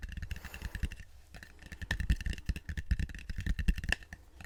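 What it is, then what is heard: Wooden bowl. A wooden bowl is tapped up close with quick, dense light taps that come as a continuous rattling patter. Each tap is short and dull, with little ring and most energy low in pitch.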